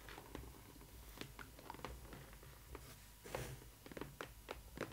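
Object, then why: Printed cardboard box. Long nails tap and scratch the glossy side panel of a large, hollow printed cardboard box for a Disney ily 4ever Stitch doll, decorated with Stitch artwork. A quiet series of short, crisp clicking taps is heard, mixed with brief scratchy rustles over a low background hum.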